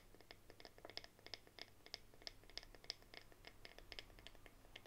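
Long nails tap and scratch the flat, solid bamboo back of a bamboo paddle hairbrush held on its side. The result is a quiet, rapid, irregular patter of sharp, dry, bright clicks and scratchy strokes with almost no ring, over a faint steady low hum.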